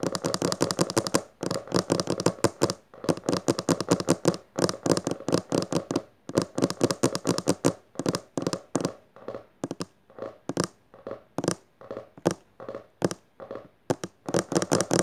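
Long dark fingernails of one hand rapidly tap and scratch the textured maroon cloth-covered board cover of a closed, solid hardcover book resting on purple fabric. Dense bursts of dry, quick taps and scratchy strokes come in fast runs, then loosen into separate, sharper taps with short gaps. Each tap dies away almost instantly, with a low, muted body.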